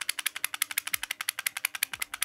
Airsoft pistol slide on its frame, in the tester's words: forse riesci a sentire un po' il tintinnio